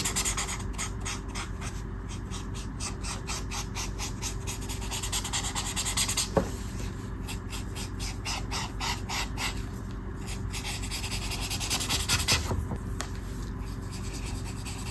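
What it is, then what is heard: Marker scratching on colouring book paper. A brush marker tip rubs back and forth on a flat sheet of white paper in a colouring book printed with a mandala. It makes a steady run of quick, scratchy rasping strokes, bright and papery, over a constant low hum, with one sharper tick partway through.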